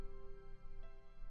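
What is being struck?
Nothing is struck.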